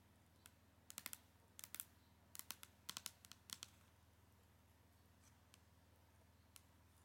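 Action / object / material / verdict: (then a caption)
tap / cardboard makeup palette sleeve / cardboard / none. Long nails tap and scratch the flat cardboard sleeve of an eyeshadow palette, which has a marbled agate print and holds the palette inside. Bright, dry clicks come in irregular clusters over a faint low hum, then thin out to a few isolated taps.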